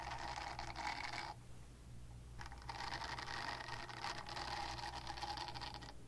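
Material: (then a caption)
Silicone. Long nails scratch across the nubs of a small, pink, solid and flexible silicone cleansing pad, making a dense, raspy scratching with a buzzy midrange tone and bright, hissy edges. The scratching runs for about a second, pauses briefly over a low steady hum, then resumes for several more seconds.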